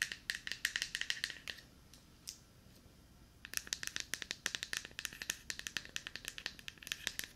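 A small, hollow, light-blue plastic deodorant stick is tapped and scratched with long nails while being moved around the microphone. Rapid, bright, dry clicks ring around 1.9 kHz with almost no low end. A quieter stretch with a faint scratch comes in the middle before the quick tapping resumes.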